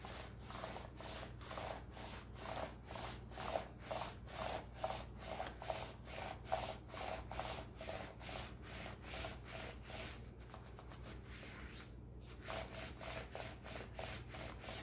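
A gloved hand wipes and rubs a black plastic laptop keyboard and palm rest with a white paper tissue. It makes a steady run of rhythmic, papery swishing strokes, about one per second, over a constant low hum. The strokes thin out briefly near the end before resuming.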